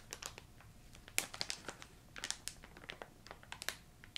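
A filled yellow plastic ginger candy bag is tapped, scratched and crinkled with long painted nails. The result is a quick, uneven series of short, crisp, bright crackles and taps with almost no low end, each dying away almost instantly.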